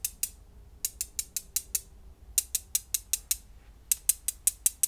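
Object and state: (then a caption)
Glass gems clicked together. Small solid blue glass gems, several held between the fingertips of both hands, are clicked and rubbed together above a pile of gems lying on bubble wrap. Twenty short, bright clicks come in a pair and then three runs of six, each dying away almost instantly over a quiet, low background hum.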